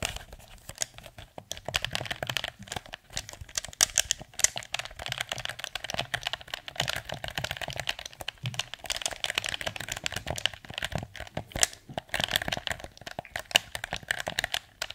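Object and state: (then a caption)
Plastic game controller. Fingertips tap the hollow blue plastic PS4 controller and press its buttons while it is tilted near the mic. A dense run of quick, dry plastic clicks and taps fills the clip. The sound is bright with little low end and no ring between hits.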